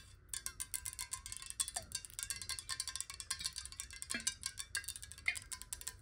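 Long nails of both hands tap rapidly on a clear, square glass bottle filled with water. The result is a fast, continuous patter of bright, high clicks with short, glassy pings around 2.1 kHz that die away almost at once.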